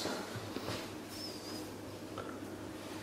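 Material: Nothing is struck.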